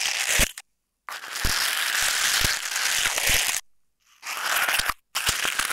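A palm-sized coiled stainless steel scouring ball of hollow, springy wire mesh is squeezed and crunched by fingertips while pressed onto a tape-covered earbud mic on a wooden table. Bright, dense metallic crinkling and scratchy crunching come in several bursts separated by brief silences, with sharp low thumps from the pressing.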